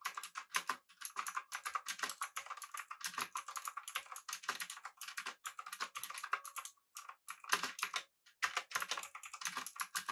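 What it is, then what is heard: Mechanical keyboard with round plastic keycaps. Fingertips of both hands type rapidly on a full-size, backlit, typewriter-style mechanical keyboard with blue switches, an aluminum body, and round plastic keycaps. A dense run of sharp, bright clicks centered around 1 kHz fills the clip, with a few brief pauses between bursts. Each keystroke dies away almost instantly, leaving no low-end body.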